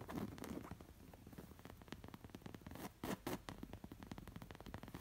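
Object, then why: Embroidered linen throw pillow. Long nails scratch and trace over the raised embroidered bird and leaves on a stuffed, square coral linen-like throw pillow. Soft, rapid fabric scratching carries on throughout, with brief louder bursts near the start and around the three-second mark.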